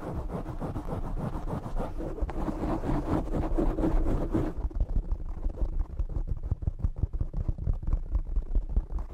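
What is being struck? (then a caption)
Foam microphone windscreen. Short nails and fingertips scratch, grip and rub the black foam cover on a desktop microphone, producing a dense, muffled low rumble. For the first four and a half seconds it is a continuous scrunching rub, then it breaks into quicker, choppier scratching bursts until the end.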